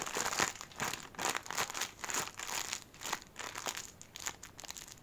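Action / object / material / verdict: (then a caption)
scrape / thin plastic bag / plastic / none. An empty, hand-sized, thin clear plastic packaging bag is crumpled and rubbed between fingers in yellow rubber gloves. It gives a run of bright, dry crinkling bursts that rise and fade with little low end, gradually growing quieter toward the end.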